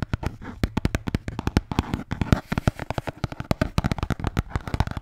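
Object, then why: Beer can holder. A red Bintang beer can holder is tapped and scratched in quick succession. Sharp, short taps with dull, low-heavy thumps die away almost at once, with soft scratching filling the gaps between them.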